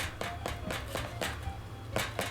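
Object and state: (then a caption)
Baked-through bread loaf (hollow). The underside of a freshly baked white bread loaf is tapped six times, each tap giving a short, soft, hollow thump. The hollow sound shows the loaf is baked through.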